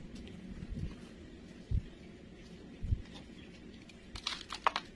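A solid green bar of soap held in the hand is shaved and scraped with a metal knife blade, with curls of soap piling up. Soft, low scraping runs throughout, with dull thuds standing out near 1.7 and 2.9 seconds. A cluster of bright, crisp scraping bursts follows near the end.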